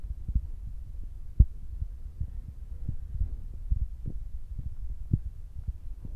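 Fingertips with short nails tap on top of the black foam windscreen of a Zoom recorder's microphone. The result is a steady run of soft, dull low thumps, each dying away almost at once, with nearly all of the sound below 200 Hz.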